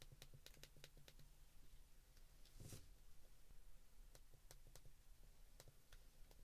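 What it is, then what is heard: Plastic flip phone keypad presses. Thumbs and fingertips repeatedly press the number buttons on the keypad of a white plastic flip phone. The result is quiet, sharp, bright clicks over a low, steady hum, with one slightly longer, fuller press near the middle.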